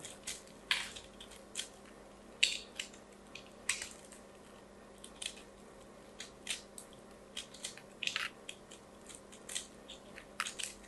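A small, solid lilac carved soap ball is held in both hands while a craft knife blade and long nails scrape and shave crunchy flakes from its surface, dropping them onto a pile of soap shavings below. About twenty short, dry, bright crunches and scrapes come at irregular intervals over a quiet background, each dying away almost at once, with almost no low end.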